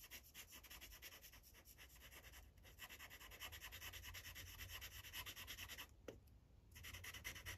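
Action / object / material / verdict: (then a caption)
scrape / felt-tip marker on a thin paper sheet / paper / none. A gold Sharpie felt-tip marker scrubs in rapid short strokes over a thin white coloring-book page lying flat, with the other hand holding the page. The result is a steady, bright, scratchy rubbing that pulses at roughly three strokes per second over a low background rumble. It pauses briefly around the six-second mark before resuming.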